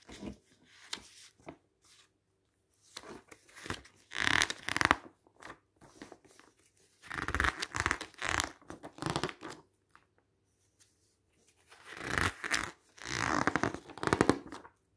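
Fingers quickly flip the pages of a glossy paper magazine lying on pink fabric. Bursts of crisp rustling and crinkling come in clusters separated by short quiet gaps, with the loudest flurries around the middle and end.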